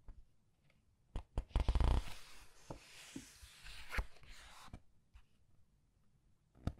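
Fingertips with long red nails turn and squeeze the glossy paper pages of a large art book. Quiet, sharp crackles and taps build into a dense crinkling burst, then a soft, bright papery swish sweeps across as a page turns. A few scattered clicks follow before a final crisp snap at the end.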